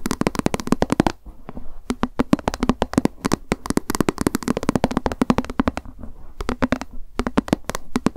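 Long acrylic nails tap quickly on a small, hollow white plastic lunch box with a cat print held in the hands. Rapid bursts of short, clicky taps with a hollow midrange tone come in several runs, separated by brief pauses.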